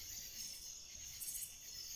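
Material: Nothing is struck.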